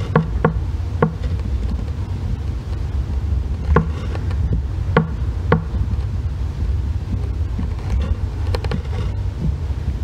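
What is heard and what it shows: A solid green bar soap resting on a white box has its surface scratched and shaved with the loop end of a thin metal face tool. Short, sharp scraping clicks come at irregular intervals over a steady low rumble, possibly wind noise.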